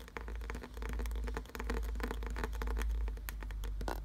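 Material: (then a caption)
Wood. Fingernails tap and scratch quickly across the ridged grooves of a solid, glossy brown carved wooden piece. Dense, rapid clicks and scrapes run over a steady low rumble that fills most of the sound.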